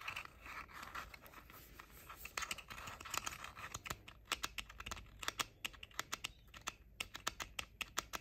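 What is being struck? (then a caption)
Plastic over-ear headphone ear cups. Short painted fingernails tap and scratch the outer shells of the hollow ear cups on pink plastic JBL over-ear headphones. Soft scratching and rubbing give way to a rapid run of crisp, bright, hollow plastic clicks with almost no ring, centered around 1.3 kHz with little low end.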